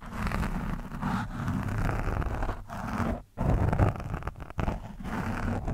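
A screwdriver tip scratches an orange foam windscreen on a microphone, producing a steady, dense, rustling scrape dominated by low, boomy rumble. The scratching briefly stops for a moment just past the midpoint, then resumes more loudly with uneven strokes until the end.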